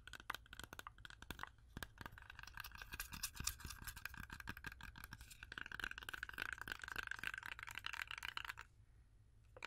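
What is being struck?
Whole apple tapped with acrylic nails.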